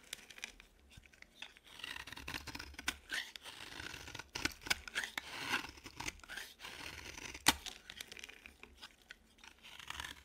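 A utility knife blade scrapes the edge of a dry, green solid bar of soap into curls. The result is a run of dry, crisp scraping strokes with a bright, papery crackle and no lasting ring, with one sharper snap near the end.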